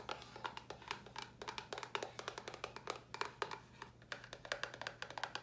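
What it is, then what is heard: Cardboard box, hollow. A small, hollow white cardboard box with a red top is held in the hands and tapped with long nails. Around 35 quick, dry, hollow taps come in uneven rhythmic bursts, each with a bright click and a short papery resonance near 400 Hz that dies away almost at once. A faint, steady low hum sits underneath the whole clip.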